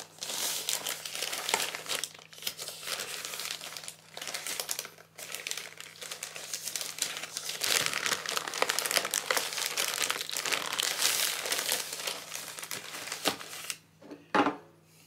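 A white plastic poly mailer bag with a boxed item inside is held and squeezed by fingertips, then set on a desk. Continuous bright crinkling and rubbing of the plastic fills most of the clip, with brief pauses and a sharper burst near the end.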